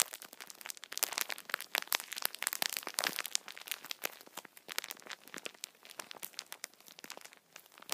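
A multipack of tissue packets wrapped in plastic film is held in both hands, squeezed and rubbed with fingertips. The film gives a dense run of bright, crackly crinkles with no low end, coming in uneven bursts that swell and ease over the clip.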